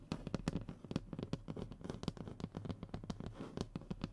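Short fingernails rapidly scratch and tap the speckled surface of a thin, solid, flat brown hardboard fiberboard panel resting on a table. A quick, uneven run of soft, dull taps with faint scratching, mostly low and muffled, each stopping almost instantly without ringing.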